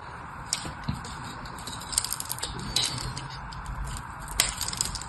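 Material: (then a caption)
Soap. A small blade scores and carves cubes into the dry surface of a solid, hand-sized, white rectangular bar of soap. Soft, continuous scratching runs under scattered bright, crisp ticks and crackles as the blade cuts in.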